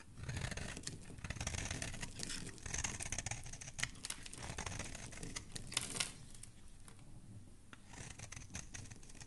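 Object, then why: Bar of soap scraped with a metal blade. A solid, rectangular, cream-coloured soap bar held in the hand is scraped and shaved with a metal utility blade, producing flakes. Steady dry, scratchy shaving strokes come with bright, crisp ticks and a low rumble underneath. The scraping eases to a softer, quieter rasp toward the end.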